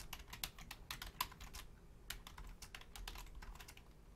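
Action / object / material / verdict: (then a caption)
tap / plastic computer keyboard / plastic / none. Long painted nails and fingertips type quickly on the low-profile keys of a full-size black plastic Logitech keyboard. Short, bright plastic clicks and clacks come in a fast, uneven stream with a few sharper taps standing out. A faint low rumble sits underneath.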